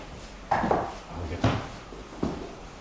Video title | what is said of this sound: 볼거리 먹거리가 가득한 초량 차이나타운의 2009년 모습. 1930년대 차이나타운은 어떤 모습이었을까? [ 포토에세이 골목 ] 20091228 | 안을 계단을 걸어보면 이렇게 나무 소리가 나요. 뒤에 보면 나무로 만든 나무 계단입니다